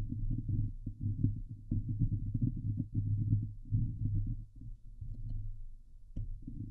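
Long glitter nails on both hands scratch the hollow steel mesh grille of a Blue Yeti microphone. The result is a dense, muffled, low rumbling scrape with a steady throbbing hum around 100 Hz and occasional sharper clicks. Almost all of the sound sits in the deep low end with no high brightness.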